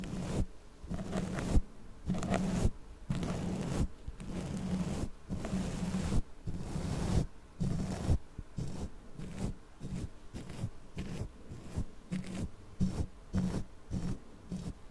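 Long nails scratch the bare, hollow metal mesh grille of a black condenser microphone while the other hand holds the mic. About a dozen separate bursts of scratchy, rumbling friction sound heavy in the low end, with short silent gaps between them.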